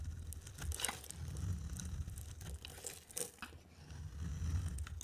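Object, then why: Bar of soap carved with a knife blade. A solid blue, white and green striped bar of dry soap is scraped and carved with a utility knife blade. Crisp, crumbly scraping and shaving sounds come in short bright bursts over a steady low rumble.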